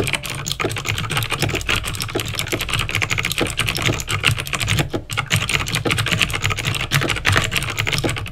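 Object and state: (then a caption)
Plastic mechanical keyboard. Fingertips type steadily on a backlit plastic mechanical keyboard with clicky green switches. The result is a dense, continuous stream of sharp, bright clicks that decay quickly, over a low hum.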